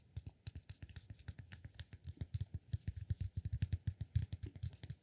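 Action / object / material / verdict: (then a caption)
tap / cork block / cork / none. Fingertips tap rapidly on the sides of a solid cork block held upright between both hands. The result is a quick, quiet stream of dull, low thuds that stop almost instantly, with no ringing.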